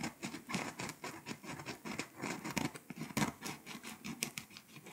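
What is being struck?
Foil-coated paper scratch-off map.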